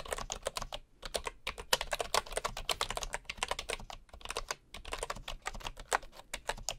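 Fingertips of one hand type on a bamboo computer keyboard with wooden keycaps and a hollow housing, with a wooden mouse sitting untouched alongside. About forty quick, dry, bright taps clatter in a steady run with brief pauses, each dying away almost instantly with little low end.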